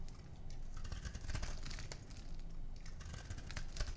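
A small metal blade scrapes and carves shavings off a solid, palm-sized oval bar of dry lime-green soap held in one hand. A steady stream of dense, crunchy scraping and crackling runs throughout, with a low rumble underneath and brief bright flecks of shaving crunch.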